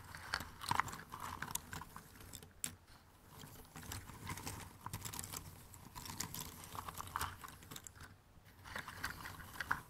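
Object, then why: Cardboard jigsaw puzzle pieces in a cardboard box. Fingertips rummage and scratch through a pile of thin cardboard jigsaw puzzle pieces in an open cardboard box. The result is a steady, dry rustling and scraping with many small, sharp clicks, brightest in the upper range. There are brief quieter pauses near 2.5 and 8.5 seconds.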